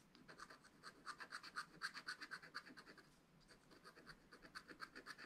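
A wooden stylus scratches the black wax coating of a flat scratch-art paper page in a spiral notebook, working around the leaf and berry area. It makes quick, dry, bright scratching strokes at about four per second, with a brief lull near the middle. The scraping centers around 1.6 kHz, with a higher, hissy edge.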